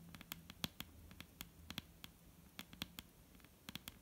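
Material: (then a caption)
Wood. Long almond-shaped painted nails of both hands tap a large, solid, dark brown wooden table top in an irregular patter. About eighteen quiet, crisp clicks are heard, each bright and dying away almost at once. A faint low hum sits underneath.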